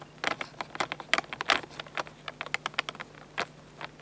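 Fingertips tap and rub the top plate, mode dial and buttons of a hollow-bodied black plastic Fujifilm bridge camera whose battery door is open at the start. About twenty quick, dry, bright taps and clicks sound out, spaced irregularly over a faint steady hum, each dying away almost instantly with no ring.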